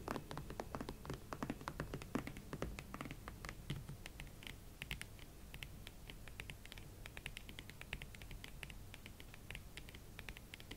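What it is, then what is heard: Leather platform boots, tapped and scratched. A pair of hot pink smooth leather Valentino Club platform ankle boots stands on a surface while long nails tap and scratch their uppers and platforms. The result is a quiet, steady stream of short, dry clicks and soft scratchy brushing, with dull low knocks early on giving way to brighter, crisper taps.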